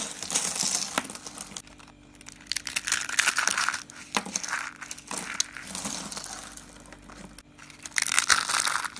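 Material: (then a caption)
Soap. Small, hollow, cream and brown dry soap curls and flakes are crushed and rubbed between both palms. The result is dense, bright, crisp crackling and crunching in repeated bursts, with brief quieter pauses between the handfuls.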